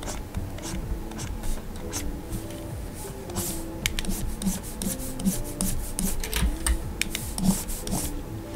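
A plastic stylus nib makes repeated short rubbing strokes across the solid glass screen of a large Gaomon PD2200 pen display while colouring. The strokes come as a steady run of soft, dry scratchy swipes with bright hissy edges, over a continuous low tonal hum.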